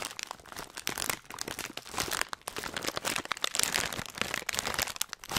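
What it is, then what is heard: Plastic foil snack bag being crumpled. A hand-sized Hot Nuts printed plastic foil snack bag filled with nuts is crumpled and rubbed by the fingertips. Dense, bright crinkling runs throughout, packed with sharp crackles and crunches and almost no low end.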